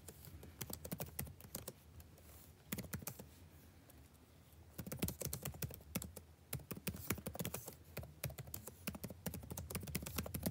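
Fingertips type continuously on the blue-backlit plastic keycaps of a dark laptop keyboard, producing rapid, short, dry clicks with a soft low thump and a bright tick. Bursts of fast tapping ease off briefly around the two- and four-second marks, then pick up again and continue steadily to the end.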